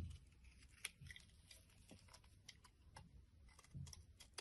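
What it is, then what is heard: Soap bar being scraped. A solid blue soap bar held in the palm is scraped with a metal blade, shaving off flakes. Quiet, crisp scraping strokes with a bright, crackly texture come in short bursts over a soft low rumble.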